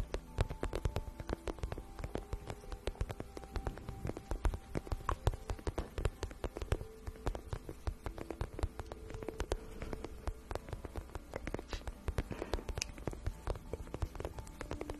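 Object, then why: Glossy vinyl pouch. Long painted nails tap and scratch a shiny pink patent vinyl pouch, medium-sized, hollow and apparently empty. A steady stream of quick, soft, dry taps and light scratches with a low, dull body and very short decay continues quietly throughout.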